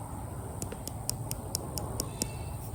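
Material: Eggshell.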